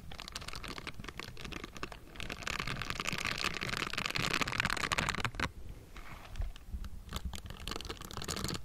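A hollow metal mesh microphone grille is scratched with the bristled fingertips of pink silicone gloves, giving a dense, irregular stream of close, dry scratching and tapping. Bright, crackly texture sits over a low rumbling body and swells in the middle before briefly thinning out.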